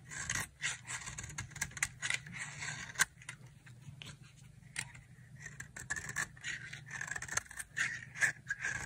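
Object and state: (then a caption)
Dry soap bar being carved. A solid white dry soap bar held in the palm is carved and scraped with a utility knife blade, peeling off white shavings. Quick, irregular dry scraping strokes rasp with a bright, gritty texture centered around 1.6 kHz, occasionally punctuated by sharper clicks of the blade, over a faint low hum.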